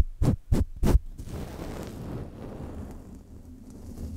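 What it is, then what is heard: Metal microphone mesh grille. Long red-painted nails and fingertips tap and scratch the hollow metal mesh grille of a large silver Blue Yeti USB microphone up close. Three quick, boomy, low thumps are followed by a steady low, rumbling scratch across the grille that continues to the end.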